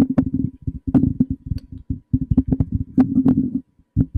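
Fingertips and short nails tap and rub a hollow, black cylindrical metal condenser microphone body mounted on a stand. A rapid, irregular string of soft, dull knocks comes through, each with a low, boomy resonance that dies away almost instantly. The knocks are separated by brief silent gaps.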